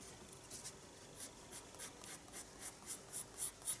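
A pencil held in the fingertips draws fine strokes on the page of a small spiral paper sketchbook lying flat on a desk. The quiet, bright scratching rises and falls in a series of short strokes, growing slightly louder toward the end.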